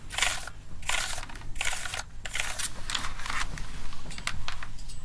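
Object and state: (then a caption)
Plastic keyboard keys brushed. A full-size plastic gaming keyboard with a hollow body is held up in one hand while its keys are scrubbed and scratched with a small black brush or tool. Bursts of bright, dry bristly scratching come in rhythmic strokes over a low steady rumble.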